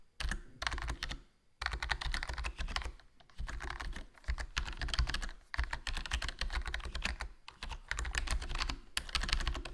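Fingertips type continuously on a HyperX Alloy Core RGB plastic membrane gaming keyboard with a foam mod, a black plastic body, black plastic keycaps and a hollow case. Bursts of quick, muted key clacks come through with a deep, thuddy low end and only a little brightness. Brief pauses between runs let each short, dry press die away quickly.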